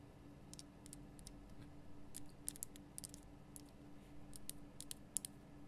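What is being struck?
Rock salt lamp.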